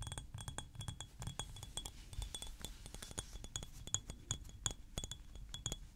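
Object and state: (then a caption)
Glass perfume bottle. A thick clear glass perfume bottle filled with blue liquid and topped with a silver cap is held in the hands and tapped and clinked with nails and fingertips. The result is a quick, steady run of short, bright glassy clicks and clinks with high ringing tones that die away almost at once, over a soft low rumble.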